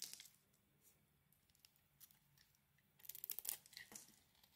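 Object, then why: Bar of soap. A utility knife blade scrapes the mauve outer layer off a solid, hand-sized oval bar of soap with a blue inside. Quiet, bright, crisp scraping and shaving rasps come in short bursts, growing denser and louder in the second half.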